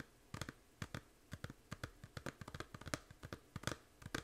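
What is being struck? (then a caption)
Small plastic game case. Long nails tap and scratch the front of a small, hollow plastic 3DS game case held in both hands. About 20 quick, dry clicks and scrapes come in an irregular rhythm, each one short with almost no ring. The case gives a light, hollow knock with a bright edge.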